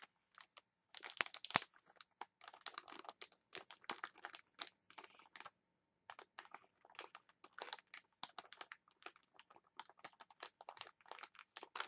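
Long nails tap and scratch a clear plastic package of wooden chopsticks, making quiet, bright crinkling clicks in dense, irregular bursts. The crackling pauses briefly near the middle before resuming at a similar pace.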